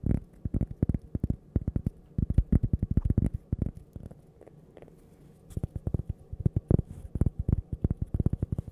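Fingernails tap rapidly on cork coasters shaped like toasters, making soft, dull, low-pitched clicks with almost no ring. The taps come in quick bursts, pause briefly near the middle, then resume at the same quick pace.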